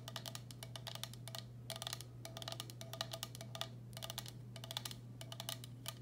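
Long black acrylic nails tap the base and sides of a medium, hollow, empty turquoise speckled glazed ceramic bowl held upside down. Rapid bursts of crisp, bright clicks with a very short ring come in clusters separated by brief pauses, over a steady low hum.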